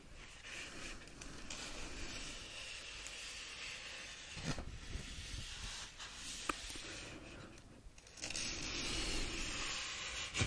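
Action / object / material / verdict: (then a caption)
scrape / paperback book, paper pages / paper / none. Fingers flip and riffle through the yellowed paper pages of an open paperback book. A steady, soft, papery rustle with bright hiss runs throughout, broken by a few sharper page flicks. It grows louder and denser in the final seconds.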